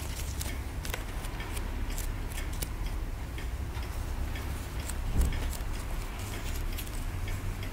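A pointed wooden stick scratches and scrapes the surface of a larger chunk of white plaster from a dig block held in the hand. Light, bright scratching ticks come over a steady low rumble, with one slightly louder scrape near the five-second mark.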